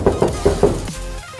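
Four knocks on a flush door at doorknob height, checked before drilling because the solid block inside is sometimes only at exactly 1 metre. Each knock gives a dull, hollow thud with a low-mid tone that fades quickly. The spot turns out to have no core, so it sounds hollow.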